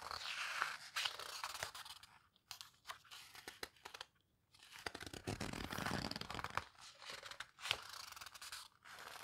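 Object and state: Paper book pages.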